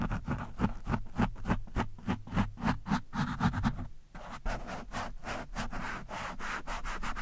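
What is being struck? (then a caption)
Foam microphone windscreen scraped with a metal screwdriver. A metal screwdriver shaft rubs and scrapes back and forth across an orange foam windscreen on a microphone, producing rapid, uneven scratchy strokes with heavy low-end thumps. About halfway through, the strokes turn lighter and hissier, with a brighter, more airy texture and less bass.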